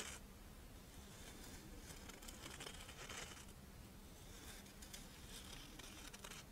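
Long nails tap and scratch the dry, ridged edge and surface of a Doraemon-shaped, chocolate-filled rice wafer monaka held in the hands. The result is a quiet, continuous stream of crisp, papery crinkling and scratchy crackles with bright, brittle ticks, over a steady low hum.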